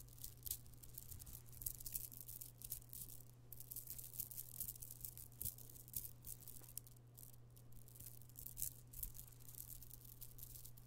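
A necklace strand of small purple amethyst stone chips is dangled and shaken close to the microphone, and the chips rattle together. Quick, bright clicks and rustling ticks run continuously over a steady low hum.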